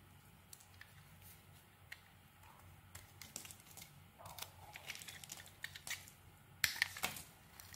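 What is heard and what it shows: A metal utility blade carves chunks off a solid green rectangular soap bar held in the hand. Quiet, bright scraping and crisp crumbly cuts come in scattered short bursts over a low hum, growing busier and louder toward the end with a few sharp, snappy cuts.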